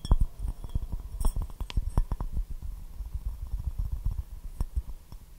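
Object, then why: Porcelain teacup. A white porcelain teacup with a rose pattern and gold rim, hollow and empty, is held upside down and tapped with fingertips and nails. A rapid, uneven series of short, dull taps and light clicks follows, mostly low and thumpy. Each tap dies away almost at once with little ring.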